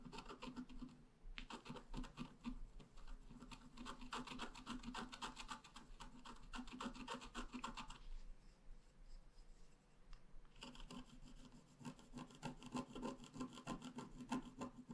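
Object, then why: Wax-coated scratch art paper card scraped with a wooden stylus. A wooden stylus scratches grass and flower details into a flat black-coated scratch art paper card. Quick, dry, rasping strokes repeat in dense bursts, ease into quieter, sparser scraping for a couple of seconds in the middle, then resume at full pace.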